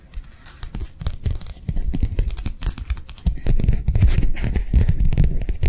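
A thin, flexible matte plastic sheet is held edge-on between the fingers and tapped and flicked with long nails. The result is a fast, irregular stream of soft, dull taps with a deep thumping body and brief crinkly, scratchy flickers, growing louder and busier toward the end.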